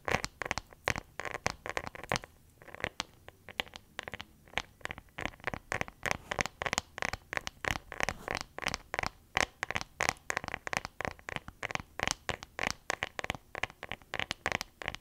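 A whole fresh, solid orange is held in both hands while long dark nails scratch and tap its peel. Dozens of quick, dry, crisp clicks and scratches repeat steadily, bright in tone with little low end, and each one dies away almost instantly.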